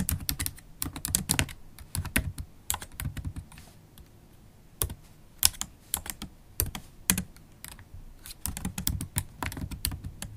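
Typing on a MacBook Pro keyboard, black plastic keys in an aluminum laptop body, tapped with long pointed acrylic nails and fingertips. Bursts of quick, dry clicks with bright, sharp edges and a low thump underneath come in flurries separated by brief quieter pauses.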